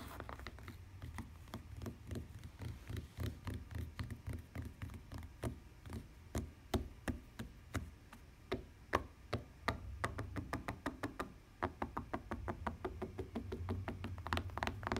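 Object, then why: Fabric-covered hard plastic tablet case. Long dark-painted nails and fingertips tap and scratch a flat pink tablet or e-reader case, its linen-like fabric cover stretched over a hard plastic shell, as it lies on a wooden table. Dozens of quick, dry taps land in an uneven rhythm, each a soft low thud with a brief bright click that dies away almost instantly. Faint scratchy rustling fills the gaps between them.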